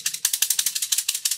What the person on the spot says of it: if I shake it maybe you can hear and this has got ball bearings in it